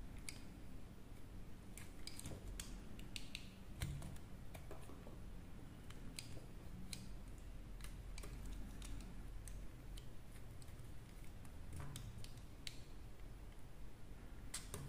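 A solid pink and teal dry soap bar, held in hand, is carved with a small metal blade. Quiet, dry scraping and cutting sounds come as short, sharp crackling clicks scattered throughout, over a steady low hum.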